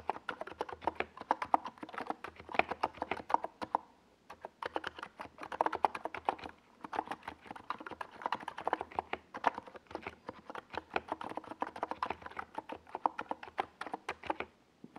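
Fingertips of both hands type on a NiZ Plum Atom 68, a compact 68-key mechanical keyboard with a white plastic case and purple and yellow Domikey Gas Attack SA plastic keycaps, resting on a desk pad. Rapid, dense bursts of short, dry, mid-pitched plastic clacks continue for about 15 seconds, broken by brief pauses near 4 and 10 seconds.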